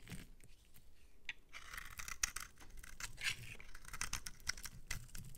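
A metal utility-knife blade scrapes and crumbles soap off the end of a solid, palm-sized pink bar of soap held in the hand. The result is a series of dry, gritty scraping and crumbling strokes with a bright, crisp hiss and a quiet low rumble underneath.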